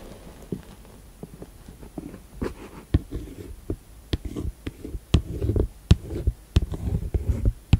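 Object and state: Plastic first aid kit case.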